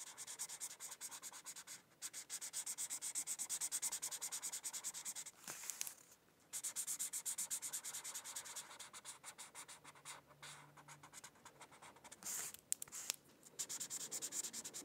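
A felt-tip marker rubs across a thin paper coloring sheet resting on a book in short, quick coloring strokes. The result is a dense, bright, scratchy hiss in rapid bursts, with brief pauses around two and six seconds and a softer, sparser stretch before the strokes pick up again.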